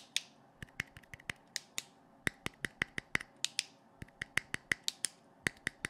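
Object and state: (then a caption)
Plastic flashlight. Fingertips and nails tap on the clear lens head of a hand-sized, hollow blue plastic LED flashlight held close to the mic. About 24 sharp, dry, bright clicks come at an uneven rhythm, each dying away almost instantly, with a faint high ring around 2 kHz.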